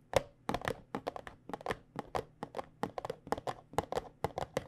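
Long painted nails of both hands tap on a small white cardboard box of Tulsi tea bags. They make a quick, uneven run of crisp, hollow clicks with a papery, mid-pitched tone around 540 Hz. Each tap dies away almost instantly.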